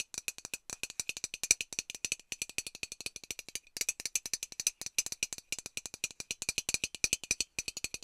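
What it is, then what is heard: Metal aerosol can. A hollow metal Lynx aerosol deodorant can is tapped rapidly with long nails, producing a dense stream of sharp, bright clicks with a tinny high ring. The taps barely decay, with almost no low end, and come in quick bursts separated by brief pauses.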